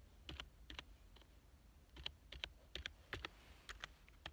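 Fingertips type on the keys of a black plastic full-size computer keyboard lying on a couch. Quick, separate bright clicks come in small pairs and clusters, each dying away almost at once over a soft low background.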